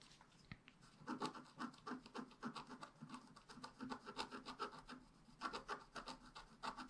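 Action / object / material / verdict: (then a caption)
scrape / black-coated scratch-art paper scratched with a wooden stick / coated paper / none. A wooden stick makes rapid, short scratches near the bottom of a black-coated scratch-art paper page held down by the left hand. The result is quiet, dry, raspy scratching strokes at an uneven pace of about three to four per second. Each stroke has a mid-range rasp with a bright hiss on top and almost no low end.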